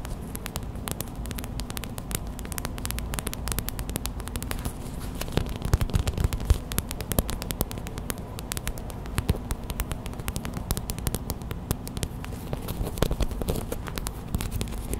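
Fast tapping and scratching with long white acrylic nails on a small clear plastic hot/cold pack filled with white gel beads. The result is a rapid stream of short, dry clicks and crackles over a steady low hum, with a few louder taps standing out around the middle.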